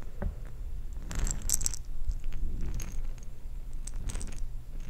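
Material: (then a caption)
Plastic. A jar filled with small plastic perler beads is shaken and handled, giving soft rattling bursts of beads shifting against each other over a low, steady rumble.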